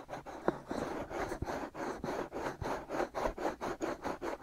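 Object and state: Silicone ears of a binaural microphone being scratched.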